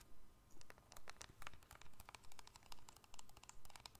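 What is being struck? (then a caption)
Plastic and metal keypad mobile phone. A small, hollow black-and-silver keypad cell phone with a plastic and metal casing is held in both hands above the microphone and tapped and scratched with long fingernails. Quick, bright clicking taps and light scratches come in steady, rhythmic bursts over a soft, low background rumble.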